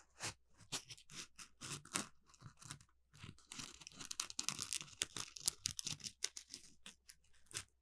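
A palm-sized orange smiley-face Scrub Daddy sponge made of textured polymer foam is held in both hands while fingertips and nails scratch its rough surface. The result is a quiet series of short, bright, crunchy scratching bursts with a tearing, crinkly texture and almost no low end. The scratches come in irregular clusters that grow denser and louder toward the middle of the clip.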